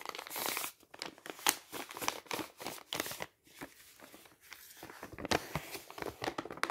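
An empty, folded brown kraft paper envelope with a white label is held in the hand and bent and crinkled with the fingers. It gives dry, bright crinkling and crackling in quick irregular bursts, with a short swishy rustle at the start and brief quieter pauses. There is almost no low end.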